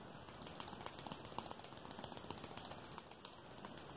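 A long, thin, clear rigid plastic ruler, solid, is held in one hand and tapped and flicked quickly with the fingertips and nails of the other hand. The result is a fast, irregular run of sharp, bright clicks and ticks that rattle like a ratchet over a faint hiss. Each click is short and dies away almost at once.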